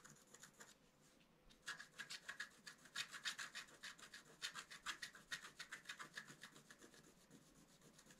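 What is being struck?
Black-coated scratch-art card scratched with a wooden stick.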